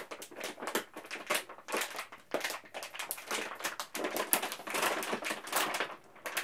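A large XXL foil-lined plastic M&M's bag, flexible and partly filled with candy, is held in both hands and crinkled and squeezed with the fingertips. Dense, bright crackling and rustling bursts come in quick succession with almost no low end. Each crinkle dies away almost at once.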